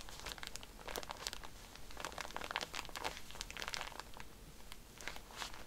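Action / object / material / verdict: tap / cotton pad pack in plastic wrapper / plastic film / none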